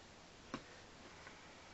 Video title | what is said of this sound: Monster High Review: Frankie Stein Mirror Bed | a little lighter weight plastic, a little hollower sounding when you knock on it